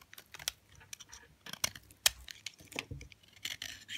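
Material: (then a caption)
Soap. A utility knife blade scrapes and cuts along a thin, solid slab of hard, dry white soap held in the hand. Irregular, crisp, bright scraping and crunching bursts follow one another, each with sharp cracking snaps that end almost instantly, with almost no low end.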